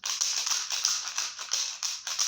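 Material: Dry pasta.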